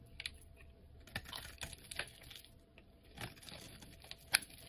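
A utility knife blade shaves curls and flakes off a solid cream-colored bar of soap held in the hand. The result is a series of quiet, crisp, bright scraping and clicking strokes with short gaps, ending in one sharper, louder cut.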